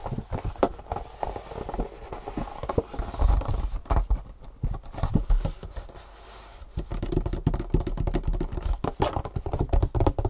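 A long, hollow printed cardboard shoe insole box is held up and tapped quickly with long fingernails on its faces. The result is a fast, dense run of short, dry, hollow taps and light scratchy scrapes. The sound sits mostly in the low range, and the taps die away almost at once.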